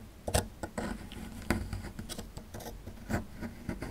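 A small metal chisel scrapes along the lower edge of a small, solid plaster fossil excavation block. The result is quiet, irregular scratching and gritty rubbing, broken by short, sharp ticks with bright edges. A low, muffled body runs beneath the scraping.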